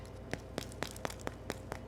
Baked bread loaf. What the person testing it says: you kind of tap on it, you can hear how hard it is